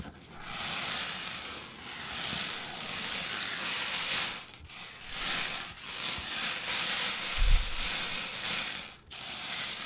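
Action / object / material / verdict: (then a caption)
scrape / heap of small hard-shelled candy-coated candies / candy shell / none. Hands with long purple nails scratch and rake through a heap of small, hard-shelled Reese's Pieces candy-coated peanut butter candies on a white table. A steady, bright clattering rattle of the shells shifting against each other goes on throughout, with a few brief dips between passes.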